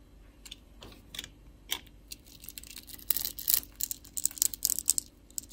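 A metal utility-knife blade scores and carves small cubes off a solid, translucent, palm-sized orange soap bar held in a hand with long glittery nails. The cutting and scraping make quiet, crisp, bright clicks and short scratchy ticks with almost no low end. The clicks start sparse, then grow denser and louder in the second half as the pieces break away.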